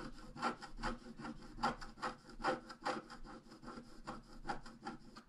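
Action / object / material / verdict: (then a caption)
scrape / black-coated scratch-art paper scratched with a wooden stylus / coated paper / none. A thin wooden stylus scratches short strokes across a flat, book-sized scratch-art page whose black coating covers colored foil, the page lying on a table and held flat by one hand. The result is a steady run of dry, rasping scrapes, roughly two to three per second, each with a bright scratchy edge and almost no ring.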